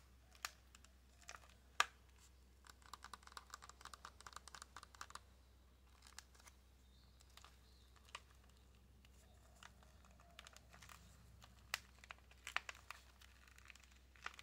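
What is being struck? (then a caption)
Small cardboard box with plastic window. Long nails tap and click in quick, irregular bursts on a small, hollow white cardboard box of orange press-on nails with a plastic window. The taps are quiet, sharp and dry with a bright, clacky edge and almost no ring. A faint steady low hum runs underneath.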